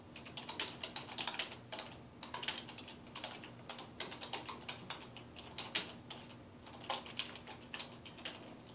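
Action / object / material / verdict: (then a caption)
tap / plastic computer keyboard / plastic / none. Fingertips type steadily on a dark plastic desktop keyboard resting on a wooden desk. Quick, bright, short clicks and taps follow one another in uneven bursts, with no ring after each key. A faint steady low hum sits underneath.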